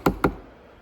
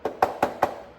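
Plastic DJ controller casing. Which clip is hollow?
The second.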